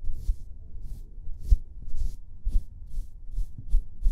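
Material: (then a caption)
Plaster. A solid plaster excavation block is brushed with a paintbrush, then scraped with a metal chisel pick. About eight short, dull scrapes and taps land in a steady rhythm, each with a low thud and a brief bright hiss.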